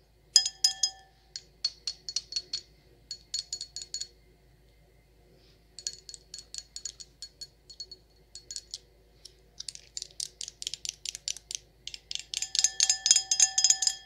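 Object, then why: Etched glass wine glass. An empty, hollow stemmed wine glass with an etched circle pattern is tapped with long acrylic nails. Quick bursts of bright, high-pitched clinks come in irregular runs with brief pauses, each tap short with a faint ring. The runs thicken into rapid, dense tapping near the end.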